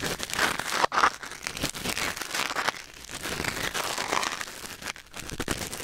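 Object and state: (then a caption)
Ear pick scraping a silicone ear microphone. A thin wooden or bamboo ear pick held in the fingers scratches and scrapes inside the canal of a white silicone ear mounted on a black binaural microphone. Close, dense crinkly rustling and scraping runs throughout with bright, crackly texture and brief louder scrapes, and the sound is not normal.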